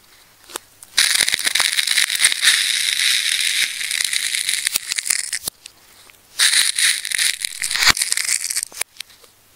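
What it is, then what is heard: Plastic tape ball being cut and peeled. A fine craft knife tip cuts and scratches into a solid, layered red ball of wound plastic tape held in the hands, peeling the layers back. Two long bursts of dense, bright crackling carry almost no low end, separated by quieter stretches with sharp, isolated clicks.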